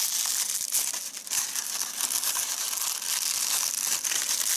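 Fingers squeeze, crumple and fold a small, light, hollow handmade doll of white crepe paper with a rolled head and paper arms in the hand. The result is a steady, dense crinkling and rustling that is bright and hissy, almost entirely high-pitched with no low end, and occasional sharper crackles rise above it throughout.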